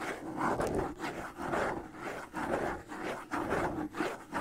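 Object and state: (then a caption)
Wood and skin bongo drum. Fingertips and nails scratch the stretched skin head of a small, hollow wooden-shell hand bongo held in the hands close to the mic. The result is a soft, dry, rhythmic rasp that swells and fades in repeating strokes, with a hollow midrange tone ringing faintly beneath.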